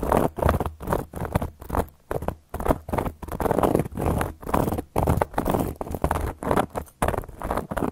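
Long gold metal claw nail caps scratch and trace across a solid, round, flat cork coaster, heard up close. Short, dry scratching strokes come in quick irregular bursts with brief silent gaps between them, carrying a soft, papery grain and little ring.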